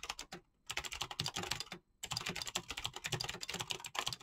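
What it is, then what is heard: Mechanical keyboard with PBT keycaps. Short-nailed fingertips type rapidly on a full-size mechanical keyboard with clicky green switches and PBT plastic keycaps. Quick, bright keystrokes pour out in dense bursts, with brief pauses near half a second and just before two seconds. Each click stops almost instantly.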